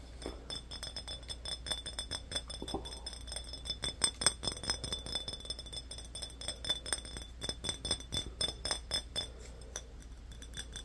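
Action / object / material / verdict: tap / small glass bottle / glass / none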